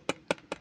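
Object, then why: Metal part of a necklace. The metal part of a jade Fox Queen necklace is tapped three times, giving three short, bright metallic clinks with a clear ringing tone centered near 560 Hz. Each clink fades quickly, and the tone sounds distinctly metallic, unlike the stone pendant.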